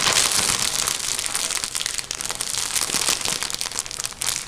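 A full, blue-and-white printed soft plastic bag of cotton wool is crumpled and squeezed with both hands, using fingertips and nails. It makes a steady, bright, hissy crinkling with dense irregular crackles and almost no low end, swelling and easing slightly over the few seconds.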